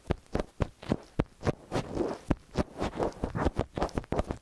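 Long nails and fingertips scratch and tap the tops of the two silver capsules of a small metal X/Y stereo microphone on a white stand. The result is a steady run of dull, low, close-up thumps with soft scratchy rustling between them. Each tap dies away almost at once, with little bright content.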